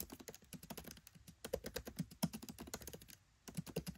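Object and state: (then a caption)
Laptop keyboard typing. Fingertips type rapidly on a MacBook Pro 13 keyboard with black plastic keycaps set in an aluminium body. Quiet, dull key taps with a soft low thump and very short ring come in a fast, uneven stream, with a brief pause near the end before the typing resumes.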